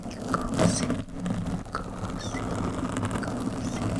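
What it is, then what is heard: Foam microphone windscreen being scratched. Long metallic nails on both hands scratch a soft, porous black foam windscreen on a microphone. The sound is a close, steady, muffled rustle and crunch, heavy in the low end, with a slightly louder swell near the start.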